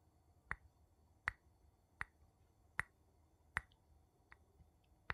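A wooden spoon taps on glass seven times at a slow, slightly uneven pace. Each tap is a short, dry click with a bright tone near 2 kHz that dies away almost instantly, over a quiet background.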